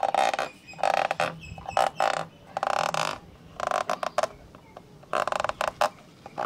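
Fingertips and nails scratch the inner walls and lens-cover area of a black plastic hollow camcorder lens hood. The result is a series of raspy, rubbing scratch bursts with a strong midrange tone near 770 Hz, separated by short quiet gaps.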